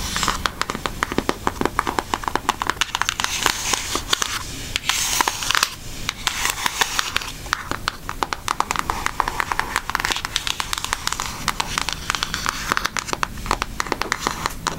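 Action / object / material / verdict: tap / cardboard eyeshadow palette / cardboard / none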